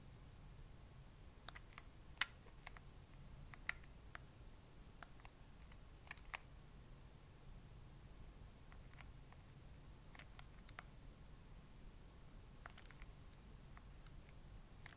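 Thumbs press and click the plastic buttons and sticks of a handheld gray plastic Nintendo Switch game console held in both hands. Short, sharp clicks and taps come at an irregular, unhurried pace, each dying away almost instantly, over a quiet low hum. The clicks sit around 2 kHz with bright edges.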